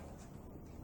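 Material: Nothing is struck.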